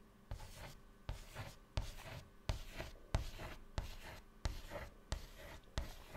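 A hand draws rows of small circles with white chalk on a flat black chalkboard panel. About ten separate scratching strokes come in a steady but uneven rhythm, each starting with a sharp, bright attack and trailing off into a dry, gritty rasp with a low thump underneath.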